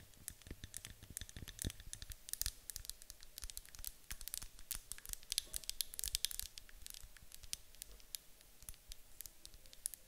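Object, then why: Glass candle jar. Fingertips and long acrylic nails tap and click on the sides of a medium white glass candle jar with a gold lid, apparently filled with wax. Quick, quiet, bright clicks come in a steady stream, each dry and short with no ringing, over soft low thumps from the fingertip taps.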